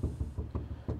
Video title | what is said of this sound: CAR WIZARD Shows What Makes a Classic Car a Deal or a Steal on this 1969 Cadillac Fleetwood | sounds like a plastic thump it could be body filler